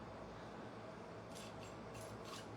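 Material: Nothing is struck.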